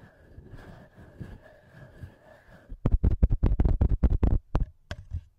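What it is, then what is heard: Metal microphone capsules tapped and rubbed. Thumbs and fingertips rub and then tap the two small metal microphone capsules on a TASCAM handheld recorder. Soft rubbing with a faint steady tone gives way to a quick run of about a dozen short, deep, thumping taps that stop dead, then a few quieter taps at the end.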